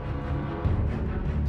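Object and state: Nothing is struck.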